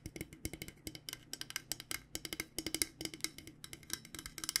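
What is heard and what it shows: Fingernails tap near the steel bottom of a purple-coated insulated stainless steel water bottle held sideways. They make a fast, irregular run of sharp, bright clicks with a metallic tone around 2 kHz. Each tap dies away almost at once, with only a faint low hum underneath.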